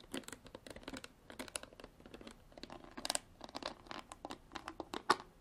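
Long black artificial nails tap and scratch the bottom and sides of a clear, ridged plastic bottle with water inside, held up in the air. Quick, light, crinkly taps mix with scratchy strokes. Each sound is bright and thin with almost no low end, and it cuts off sharply.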